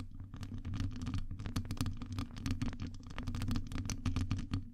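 Long acrylic nails rapidly scratch and tap on a hollow metal wire-mesh microphone grille. The result is a dense stream of crisp, bright clicks and scrapes over a steady low, boomy rumble.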